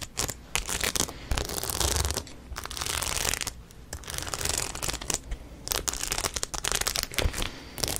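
Long nails scratch across the studs on the crown of a rhinestone-studded denim cap held close to the mic. The result is a run of short, dry bursts of bright, gritty scratching and rasping over a low, rumbling handling sound, with brief pauses between strokes.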